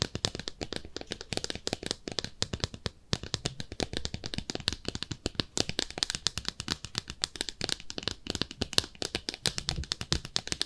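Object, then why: Small ceramic tub-shaped soap dish. Long nails tap and scratch rapidly across a small, hollow, empty pink speckled ceramic soap dish shaped like a bathtub. The sound is a dense stream of dry, bright clicks and scratchy rasps with almost no ring, plus a light low thump under some taps.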